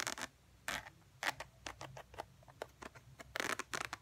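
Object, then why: Textured faux leather wallet. Long fingernails scratch along the edge and textured surface of a tan faux ostrich leather wallet. A quiet series of short, dry, bright scratching bursts comes in irregular clusters, separated by near-silent pauses over a faint low hum.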